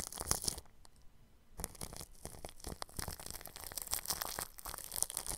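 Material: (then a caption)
Plastic film. A bristle paintbrush brushes over clear plastic cling film stretched across a round microphone's grille. The result is bright, crinkly, scratchy rustling in quick strokes, with a brief quiet pause before the brushing resumes and continues steadily to the end.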